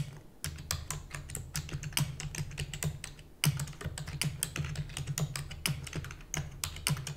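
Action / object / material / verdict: tap / plastic computer keyboard / plastic / none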